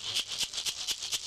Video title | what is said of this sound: 201304-20 Carl Ramos - Warsa Eanigi - Making the Shakkas | it sounds nice it's ready